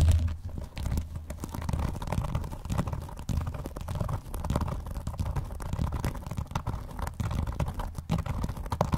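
Fingernails scratch and tap along the front spine edge of a closed blue vinyl binder. The result is a dense, steady run of dull, low-heavy scraping with short, quick taps mixed in, with no ringing after each contact.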